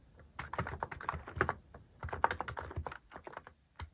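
Fingertips type on a mechanical keyboard fitted with plastic cat-shaped keycaps, producing a fast, uneven patter of short, dry clacks with a bright mid-range tone and almost no ring. The keystrokes come in two dense bursts separated by a brief pause, then trail off into a few scattered taps.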